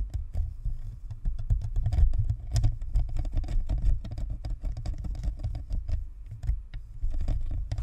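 A white spherical plastic Blue Snowball USB microphone, a hollow shell with a perforated grille on a stand, is scratched and tapped on its sides by both hands with long natural nails. Dense, rapid, overlapping taps and scratches patter on continuously with a heavy low-end thump and brief bright clicks.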